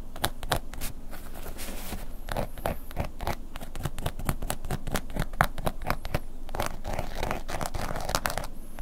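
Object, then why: Embossed leather long wallet scratched and tapped with a wooden pick. A black woven-embossed leather long wallet lies flat and is scratched and tapped with a wooden ear pick. Dense, quick scratching strokes and light taps run continuously, each a short dry click with no ring, over a steady low rumble.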